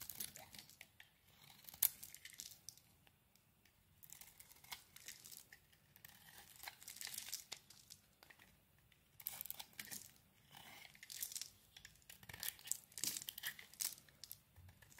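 A utility knife blade shaves thin slices off a solid oval green bar of soap with a dark coating, held in the hand. Quiet, bright crackling and tearing scrapes come in irregular bursts with short pauses between strokes, with almost no low end.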